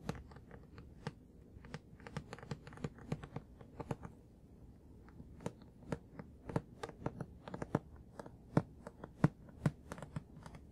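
Fingertips tap the top of a solid paper manga book still sealed in plastic shrink wrap. The result is a quiet, irregular run of short, dry taps, each a soft low thud with a crisp, bright plastic tick that dies away almost instantly.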